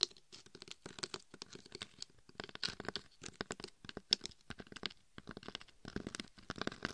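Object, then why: Glitter-coated dummy head microphone. Long red and gold acrylic nails scratch and tap the gold and red chunky glitter covering a life-size binaural dummy head microphone nicknamed "Glitter Bob," which is held between both hands and is itself recording. The nails work around the face and the sides near the ears. The result is a rapid, uneven stream of dry, bright, crunchy scratches and quick taps close to the mic, with no ring after each one.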